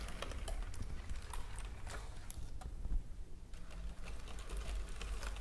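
Fingertips and long nails on gem-adorned hands tap rapidly on a white plastic computer keyboard, close up. The result is a dense, steady stream of short, dry clicks with a dull low body and almost no ring after each tap.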